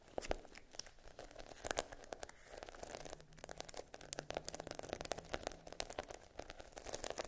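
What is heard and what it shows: Long nails scratch and tap across the rows of a flat sheet of small adhesive plastic half-pearl stickers on a dark backing. The result is a dense stream of quick, dry clicks and crinkly scraping rasps with bright edges that die away almost instantly. A faint low hum sits underneath through the middle of the clip.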